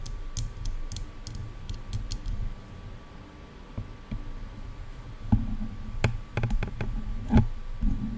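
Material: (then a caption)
Plastic. Long dark nails on both hands tap and click against silver hollow plastic headphone ear cups. The clip is an irregular series of short, sharp clicks with bright tips and soft, hollow low thuds that die away almost at once. A few louder taps land in the second half over a faint steady background rumble.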